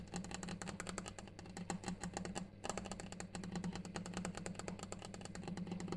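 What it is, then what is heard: Granite surface tapped. A granite surface is tapped continuously in rapid, sharp clicks with very short ring, pausing briefly around the middle before resuming. A clock ticks in the background, and a steady low hum runs underneath throughout.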